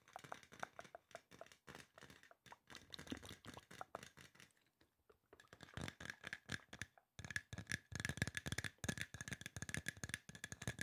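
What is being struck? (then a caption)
Aluminum spray bottle. Fingertips and nails tap rapidly on a hollow silver aluminum spray bottle, making quiet, short, dry clicks and hollow knocks. The tapping pauses briefly near the middle, then returns louder and denser, with a faint metallic ring around 1.7 kHz.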